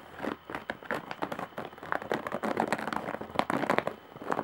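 Long nails scratch and tap along the top edge of a large, coarse-woven straw or jute bag. A steady run of dry, crackly scratches and quick taps sounds in the midrange, with little low end and almost no ring after each stroke.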